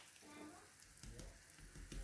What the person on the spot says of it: Si vous entendez, la peau est bien croustillante. C'est comme ça qu'on veut.